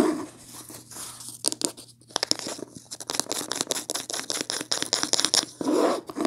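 Long painted nails scratch fast across the beige linen-textured cloth cover of a medium, solid hardcover book, first held up and then lying on a table. The sound is a rapid series of dry, bright scraping strokes with a rough, papery texture, and there are brief softer, lower rubbing passages at the start and near the end.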